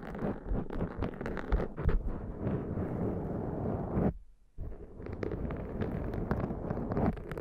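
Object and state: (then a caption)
Foam microphone windscreen being scratched. Long dark nails scratch and fingertips rub a black foam windscreen on a Zoom microphone, producing a dense, muffled, low-heavy crackling and scraping rustle. The rubbing runs steadily, drops to a brief near-silence just after the four-second mark, then resumes with the same crackly scratching to the end.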